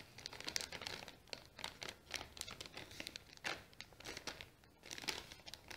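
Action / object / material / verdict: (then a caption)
scrape / kraft paper bag / paper / none. A small, apparently empty brown kraft paper bag with a round sticker is folded and crinkled by fingers while nails scratch across it. The result is a quiet, bright, dry crackling with rapid bursts of rustle and scratch that swell and fade, with almost no low end.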